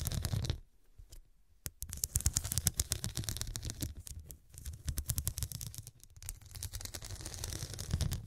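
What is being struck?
Small cushion covered in glass studs.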